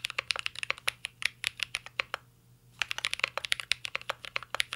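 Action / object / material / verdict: tap / mechanical keyboard with plastic keycaps and metal case / plastic / none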